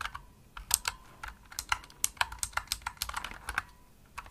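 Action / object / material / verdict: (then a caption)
tap / plastic mechanical keyboard keys / plastic / none. Fingertips with medium nails type fast on a pink full-size plastic Razer Huntsman mechanical gaming keyboard with hollow-shelled keys and RGB backlight. About 18 sharp, bright clicky keystrokes rattle out in quick irregular bursts, each dying away almost instantly, with little low end and a faint steady tone around 1 kHz beneath them.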